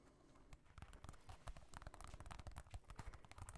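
A small mirror-tile disco ball held in both hands is tapped and scratched across its glass tiles with fingertips and nails. Quiet, rapid, irregular clicks and ticks with bright edges overlap soft low thumps and faint scraping. Each tap dies away almost instantly.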